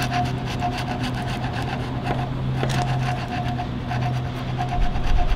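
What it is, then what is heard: Wooden log with bark. A steel chisel, pushed by a gloved hand, scrapes bark off a large, solid, partly debarked wooden log resting on sawhorses. A continuous raspy scraping goes on throughout with a steady low hum underneath, and repeated bright scratchy strokes grow a little louder near the end.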